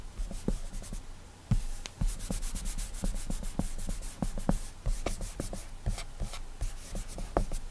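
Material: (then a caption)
Glass. Fingertips rub airbrush strokes back and forth across the glass touchscreen of an iPad tablet. Soft, dry rubbing swipes repeat in quick bursts, each with a faint bright squeak over a low, dull rumble, and end abruptly with no ring.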